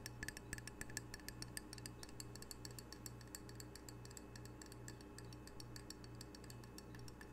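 A small, solid, square glazed ceramic coaster with an octopus print is held in hand and tapped quickly with long fingernails. The result is a rapid stream of short, dry, bright clicks, centered near 1.7 kHz, that die away almost instantly. A steady, faintly pulsing low hum runs underneath.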